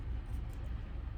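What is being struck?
Nothing is struck.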